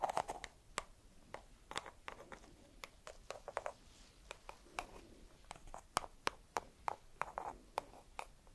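A single small whole walnut in its hard, hollow, woody shell is held in one hand and scratched and tapped with long red acrylic nails. About thirty quick, dry clicks and taps with bright, crisp edges and a woody tone near 1.2 kHz stop almost instantly, mixed with soft scratching between them in a quiet, close setting.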